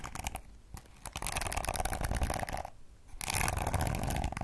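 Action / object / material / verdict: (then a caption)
scrape / plastic hairbrush bristles / plastic / none. A pink plastic detangling hairbrush is held bristles-up while long acrylic nails strum and scratch its flexible plastic bristles. The result is dense, rapid crackly scratching in bursts, with brief quieter pauses between them.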